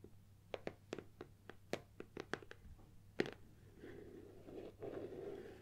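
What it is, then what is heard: Cardboard box tapped and scratched. Long nails tap a closed, hollow gold Nikon cardboard lens box while holding it, giving about eleven sharp, dry, hollow clicks over the first three seconds. The box is then tilted as the nails scratch along its front and sides, making a softer, continuous rustling scrape.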